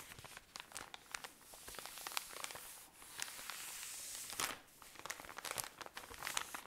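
A tall cylinder of cotton pads in thin plastic wrapping is squeezed and crinkled with fingernails. Bright, crisp crackles and sharp snaps come in quick bursts, with a steadier rustling hiss in the middle as the plastic is pressed. There is almost no low end.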